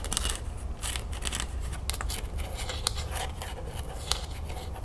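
Long nails tap quickly on the ribbed plastic body of a full plastic lemonade jug, then on its green plastic cap while the bottle is tilted. The result is a steady run of dry, bright, clicky taps and light scratches, with a few sharper taps standing out over a low background rumble.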